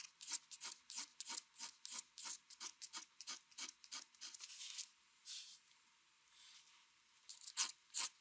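The metal tip of a mechanical pencil draws in fast strokes across a large, flat sheet of white drawing paper on a desk, with the other hand resting on the sheet. Quick, bright, scratchy strokes repeat in a steady run, then give way to a few softer, longer rubs. Two sharp strokes close the clip.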